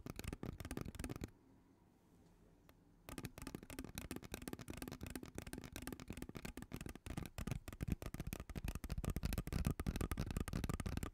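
A hollow purple ribbed plastic pop tube is scratched along its ridges and tapped with long teal nails. A rapid, irregular run of dry clicks and scratches pauses for about two seconds near the start, then resumes and grows slightly louder toward the end.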